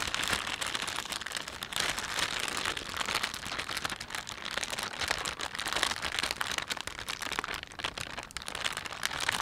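Fingertips rub a thin, empty panda-print plastic shopping bag while thumbs pinch and crinkle the film. The result is a continuous, dense, bright crinkling and crackling with almost no low end, holding a steady level throughout.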